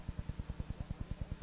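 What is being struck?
Nothing is struck.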